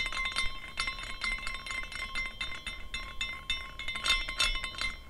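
A small clear glass carousel ornament is spun by hand, and its hanging glass horses clink against each other as it rotates. Quick, bright glassy tinkles repeat throughout, with a faint steady ringing tone underneath.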